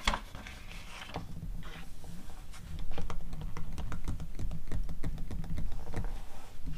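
Long teal acrylic nails tap and scratch the pages of an open, thin, glossy paper cosmetics catalog magazine lying on a fluffy rug. Quick, irregular crisp taps and papery scratches sound over a soft, low background rumble. Each tap dies away almost at once.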